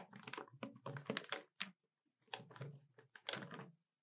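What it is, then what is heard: Plastic desktop calculator. Long nails tap the keys of a hollow black plastic desktop calculator, producing quick, bright clicky taps in dense bursts with short pauses between. Each tap is sharp and dry with almost no ring.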